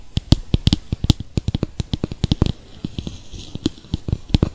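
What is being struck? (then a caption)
Small plastic bowl. A small, hollow, translucent plastic mixing bowl, nearly empty with purple face-mask residue inside, is held in both hands near the microphone and tapped with fingertips and nails. The result is a quick, irregular run of dull, low, hollow taps mixed with brighter clicky nail ticks. Each tap dies away almost instantly.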